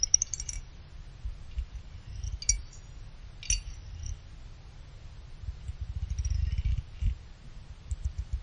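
A pick plucks and clinks the side fins of a small finned aluminum CPU cooler heatsink. Scattered bright, high metallic pings and clicks die away almost instantly over a steady low rumble.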